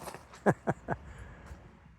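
A hand knocks three times on the metal water tank of a steam locomotive tender that sits without its wheels or chassis at a railroad museum. Each knock gives a short, low, hollow thud with very little ring. The tank sounds big and empty, holding no water, just tar.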